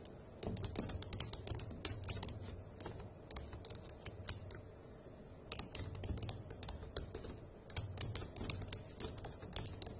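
Long acrylic nails with a Butter London design and fingertips type on the hollow key caps of a dark grey plastic laptop keyboard. Bursts of rapid, bright clicking taps over a soft low thump fall quiet briefly near the middle and again before the final flurry.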